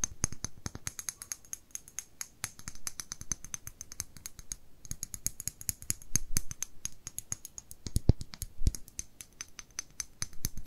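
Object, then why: Small glass dropper bottle with cap. Long nails tap and scratch a small amber glass dropper bottle with a paper label and a dropper cap, held in one hand and possibly filled with liquid. A rapid, steady stream of short, bright clicks and ticks runs throughout, with faint scratchy rubbing between them and a couple of sharper, louder taps near the eight-second mark.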